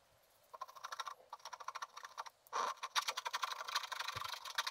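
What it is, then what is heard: Scratch art paper being scratched. A wooden stylus scratches across a flat sheet of black wax-coated scratch art paper, revealing color beneath the black layer. Rapid, uneven runs of short, dry scratching strokes carry a steady midrange tone around 1 kHz with a bright, high hiss. After a brief pause, the scratching returns denser and louder.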